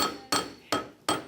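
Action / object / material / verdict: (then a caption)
strike / steel anvil / steel / tough. A steel anvil is banged on three times to show that steel is really tough, each strike a bright metallic clank with a clear ringing tone near 1.3 kHz. The ring fades quickly between strikes, and the steel holds up solid and tough.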